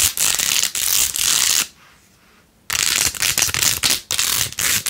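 Long acrylic nails scratch and tap quickly across rows of pink plastic pearl beads glued onto a handheld, rose-gold-edged plastic phone case. The result is a bright, crackly, dense scratching with almost no low end, broken into quick bursts. A near-silent pause falls in the middle before the scratching resumes.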